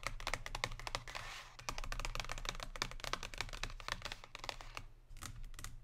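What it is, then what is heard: Cardboard chocolate box. Long pink nails tap rapidly along the bottom edge and surface of a thin cardboard box holding a Lindt chocolate bar, lying flat on a table. The result is a dense run of short, dry, bright clicks that sound much like typing on a keyboard, over a steady low hum. There is a brief hiss-like stretch early on and a short lull near the end before a few final taps.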